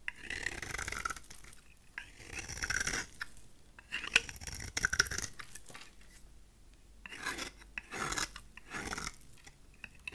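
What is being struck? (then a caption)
Bar of soap shaved with a blade. A utility knife blade shaves the corners and face of a solid, rectangular, cream-colored dry soap bar held in the hand. It makes crunchy, bright, rasping scrapes that come in short bursts of cutting, separated by quieter pauses. Thin shavings are cut from the soap.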